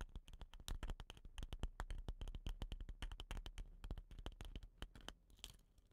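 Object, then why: Wooden rain stick tube. Fingernails scratch and tap along a hollow, dot-painted wooden rain stick with a rattan end. The taps come in quick, irregular clicks with short scratchy scrapes between them. Each tap is dry and very brief, with a soft low thump under it.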